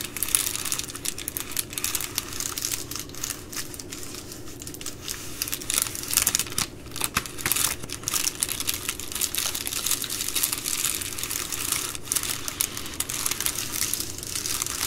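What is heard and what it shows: Fingertips and long nails fold an empty Amazon Prime poly bubble mailer lying flat and scratch along its crease. The result is a dense, continuous run of bright plastic crinkling and scratchy rustles, swelling and easing over the clip with quick, dry crackles and almost no ring.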